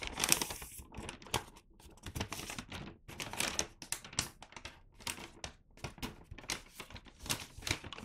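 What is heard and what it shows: A flat, empty, medium-size red-and-white Santa-print paper gift bag is held and flipped in both hands while fingertips rub and crinkle the paper across its front and side panels. Dry, bright crinkles and rustles come in quick, uneven bursts with short pauses and almost no ring.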